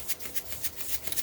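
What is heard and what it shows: A container of pink Himalayan sea salt is shaken, the loose crystals making a bright, rattling, maraca-like swish. Several quick shakes come in rhythmic bursts of hissy high-frequency grains with little low end.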